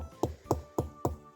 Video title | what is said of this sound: Pedra com som de sino de igreja ⛪ | é uma parte que devidamente ela está toda acomodada e aí ela não produz nenhum tipo de som como esse outro lado